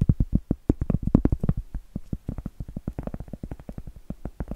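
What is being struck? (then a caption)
Round cork board. A large, round, solid cork board held upright is rapidly tapped and scratched with long acrylic nails. It gives a quick, steady run of short, dull, muffled knocks, deep and boomy with almost no brightness, each dying away almost instantly. The taps are stronger in the first second and a half, then settle into a softer, even patter.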